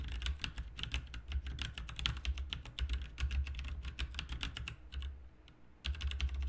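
Both hands type with their fingertips on a backlit RGB mechanical keyboard with plastic keycaps, producing a rapid, steady stream of sharp, bright clicks over a low rumble. The typing briefly pauses near the end, then resumes at full pace.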